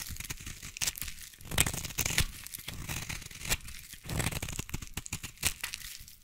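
A utility knife blade shaves long curls off a solid, hand-held yellow bar of soap. Crisp, crackly scraping strokes come in uneven bursts, each with a bright, papery edge over a soft low body.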